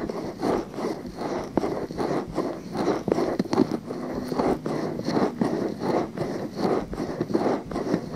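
Fingers grip a pale pink silicone binaural microphone ear while nails scratch along its rim. About a dozen soft, scratchy strokes repeat in an uneven rhythm, each a muffled, close-up rustle concentrated in the low and middle range with little brightness.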